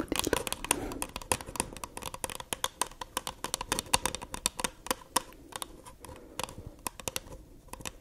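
Long nails tap rapidly on the wall and base of a small, empty white paper cup with a printed rim, held hollow on its side. The result is a dense run of sharp, dry, papery clicks with bright crackle and a light hollow tone. The taps land close together and stop almost instantly.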